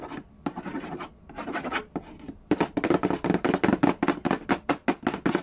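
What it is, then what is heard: Cardboard game box. Fingertips and nails tap and rub the lid of a hollow cardboard Yahtzee board game box. Soft, papery scratching strokes come in separate bursts at first, then give way to faster, louder, irregular taps and scratches. Each stroke carries a dry, hollow low-mid tone that dies away almost at once.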